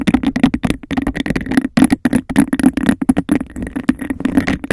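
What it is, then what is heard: Textured glass cup. Long nails rapidly tap the rim of a hollow, empty cup of embossed glass and scratch its textured sides in a fast, aggressive rhythm. The result is a dense run of short, dry clicks and raspy scrapes over a hollow tone near 260 Hz, with only a faint bright edge.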